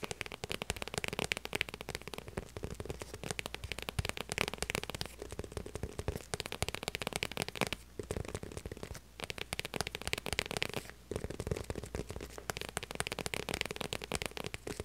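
Long purple nails rapidly tap a small, hollow, structured light blue faux leather handbag. The result is a dense stream of short, dry, crackling clicks with a bright edge and a faint low thump beneath, broken by brief pauses near 8, 9 and 11 seconds.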